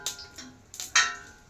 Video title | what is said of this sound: हॉटेलपेक्षाही भारी बनवली घरच्या घरी पाणीपुरी😍‌ तिखट गोड पाणी सुद्धा घरी बनवलं #panipuri 🤤 | पाणीपुरी धरली तर किती मस्त कडक आवाज येतोय की नाही पुरीचा.